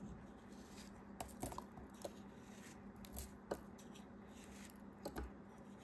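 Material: Kinetic sand.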